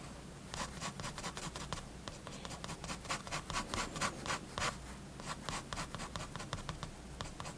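A fineliner pen makes fast, repeated hatching strokes across a page of a spiral-bound paper sketchbook holding a building sketch. The result is a rapid series of short, dry, bright scratches over a steady low background hum.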